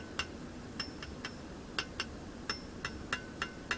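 Eleven light, bright metallic clinks, pitched around 1.7 kHz with very short ring, come from tapping a different part of a Maruyama Ultra steel tip saw blade for a brush cutter. The shot-blasted outer section that supports the tips sounds different because the blade's parts are processed differently.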